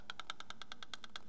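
A steel roller-follower valve rocker on a Ferrari 250 GT V12 cylinder head is rocked by hand against the valve, producing 11 light, evenly spaced metallic clicks with bright ticks around 1.3 kHz. The clicking is the correct tappet clearance, which is needed so the valves seat properly and don't burn.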